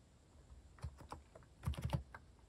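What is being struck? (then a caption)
Plastic mechanical keyboard. Fingertips rapidly type on a compact mechanical keyboard with a white plastic case and cat-themed plastic keycaps, resting on a wooden desk. The keystrokes are quiet, short, dull clacks with almost no ring, mostly low-pitched with little high brightness. They come in an uneven burst that grows denser and louder toward the end.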